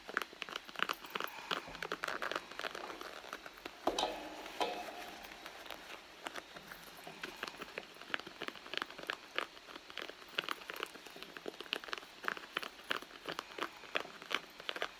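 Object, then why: Soft leather handbag. Long blue nails scratch across the surface of a hollow red soft-leather handbag, making a steady run of quick, dry, crackly scrapes and taps. The sound is bright and thin with almost no low end, and each short scratch dies away instantly.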